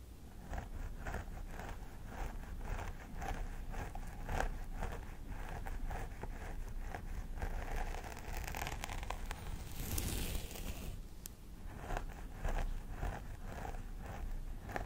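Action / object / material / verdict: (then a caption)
scrape / plastic doll head with synthetic hair / plastic / none. Both hands with long nails scratch and rake along the centre part of long grey-blonde synthetic hair on a life-size hollow plastic doll head. The result is a steady run of crisp, rustling scratches with a dense low rumble underneath and short bright streaks. A brief louder sweep comes near the middle.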